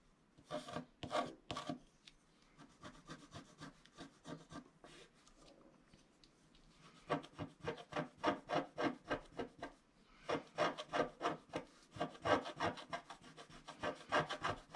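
A wooden stylus scratches across a flat, black-coated scratch-art card held down by one hand, working at its lower right corner. It makes a rapid series of short, dry, raspy strokes at about three per second, centered in the mids with little bass or high end. A few loud strokes open the clip, then a softer stretch of lighter scratching follows, and the strokes grow louder and busier toward the end.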